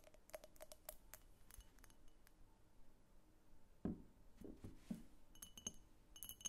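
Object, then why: Cased glass vase. A medium, hollow, empty pink cased-glass vase with a thick clear glass base is held tilted, tipped, then set upright, while long painted fingernails tap and scratch it. Quick, bright glassy clicks and ticks with short ringing tones come through, with a louder, duller knock near the middle as the vase is set down, and faint scratching in between.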